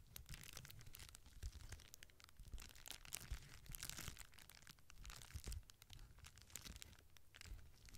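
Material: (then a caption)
Plastic. Fingertips and long nails press and crinkle the small air-filled bubbles of a clear plastic bubble wrap sheet and scratch across its surface. Dense bright crackles and scratchy rustles come in quick bursts over a low rumble. The sound runs steadily from start to end with no long pauses.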